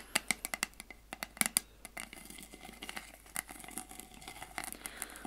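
Long acrylic nails tap and scratch a flat, round, dark metal lid from a candle jar. Sharp, bright clicks with brief high metallic pings come first, then give way to a quieter, continuous scraping.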